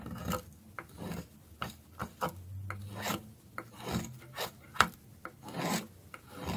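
A dark metal blade shaves and scrapes a solid orange piece of dry soap held in the fingers, dropping curls onto a pile of shavings. Eleven dry, rasping scrapes come at an uneven pace of roughly one per second, some ending in short sharp clicks with a bright edge.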